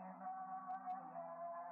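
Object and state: Nothing is struck.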